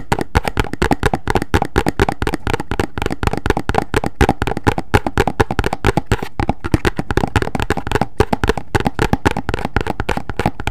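A hollow, medium rectangular white printed cardboard box with an orange end is held in both hands and tapped and scratched with long fingernails. Around sixty quick, dull taps run steadily with short scratchy brushing between them. The sound is low-heavy, dies almost instantly, and has little high brightness.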